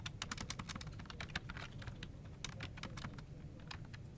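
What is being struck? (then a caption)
Plastic computer keyboard. Fast two-handed fingertip typing on a full-size plastic office keyboard resting on a desk produces dense, quick key-tap clicks. The taps are short, bright clicks over a steady low rumble, continuing without pause for about four seconds.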